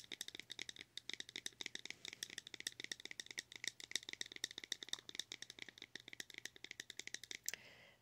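Long acrylic nails tap rapidly and steadily on the lid of a small, round, pink plastic blush compact that is closed and held in the hand. Each tap is a quiet, bright, dry click with almost no ring, concentrated in the high range. The run of dozens of taps ends with a soft brushing sound.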